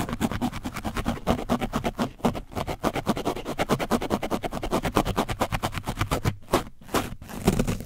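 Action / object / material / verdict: scrape / foam microphone windscreen stiffened with dried paint / painted foam / none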